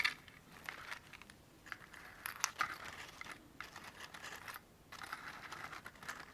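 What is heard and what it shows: Long painted fingernails tap and scratch the surface of a small white cardboard matchbox held in one hand. The result is a dense run of dry, crisp clicks and scratchy rasps, bright and thin with almost no low end, pausing briefly now and then before resuming.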